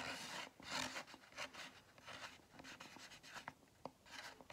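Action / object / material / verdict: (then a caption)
scrape / foam drink cup with lid and straw / styrofoam / none. Fingers and nails rub and scratch the side of a large styrofoam drink cup with a lid and straw. The result is bursts of dry, hissy scraping in an uneven rhythm, with a faint squeaky tone and a few sharp clicks.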